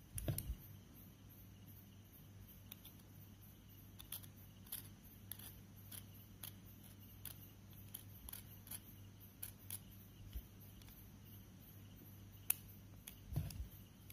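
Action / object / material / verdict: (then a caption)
scrape / chalk stick scraped with a small metal knife / chalk / none. A short, solid white chalk stick held in the fingers is carved and scratched with the tip of a small metal pen knife, and chalk powder collects on the white surface below. Many quiet, sharp, dry scrapes and ticks sound one after another, with a bright high edge over a steady low hum, and a few louder knocks come at the start and near the end.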